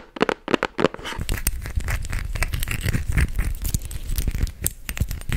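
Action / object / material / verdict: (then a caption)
tap / small glass perfume bottle / glass / none. Fingernails tap and scratch a small clear glass perfume bottle, filled with gold-colored liquid and topped with a metal-trimmed cap, held close to the microphone. A few sharp, separate taps come first, then a steady, dense run of scratching and clicking with a strong low, close-up rumble.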